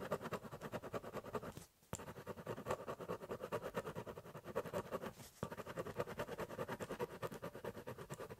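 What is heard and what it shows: A ballpoint pen scratches fast hatching lines across the top of a large, hollow corrugated cardboard box. The rapid back-and-forth strokes make a dense, papery scratching with a hollow mid-range body, and the sound breaks off in a short pause near two seconds and a shorter dip around five seconds. The quick, uneven stroking resumes after each break.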